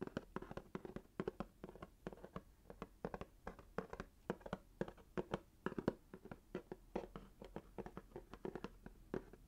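A small hollow cardboard box wrapped in red swirl paper is held in one hand while the fingertips and nails of the other hand tap rapidly on its paper-covered surface. The result is a quick, uneven stream of short, dull, hollow taps with a low-mid tone, each dying away almost instantly, with faint papery clicks on top.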